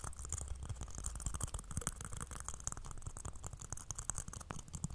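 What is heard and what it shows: A whole, fist-sized brown fibrous coconut with a hollow shell that looks intact is held in both hands close to a microphone while its hairy husk is scratched and rubbed with fingertips and nails. The result is a dense, continuous run of quick, dry scratching and crackling ticks with a bright, hissy edge over a strong low rumble.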